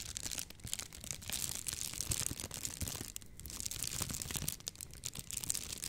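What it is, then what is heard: Plastic bubble wrap. A sheet of clear plastic bubble wrap, held up in both hands, is squeezed and crinkled with fingers and long nails. It makes a dense, bright crackling and crinkling with sharp little snaps and a soft low rustle underneath. The sound dips briefly just after the midpoint before picking up again.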